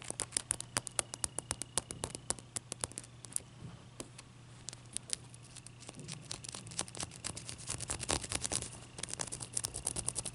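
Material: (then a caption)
Ice. Long dark nails tap and scratch the faces of a single solid clear ice cube, close-up. Rapid, bright, clicky taps come in dense bursts, mixed with soft scratchy rasping, over a steady low hum. Each tap dies away almost instantly.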